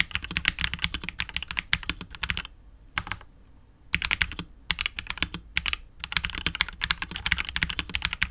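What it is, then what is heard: Mechanical keyboard with plastic keycaps and case. A KBD67 Lite R2 65% mechanical keyboard with KTT Wine Red switches, PBT keycaps and a hollow, clear polycarbonate case is typed on continuously with the fingertips of both hands. Rapid, bright, dry clacks stop short with almost no ring, broken by brief pauses near the middle of the clip.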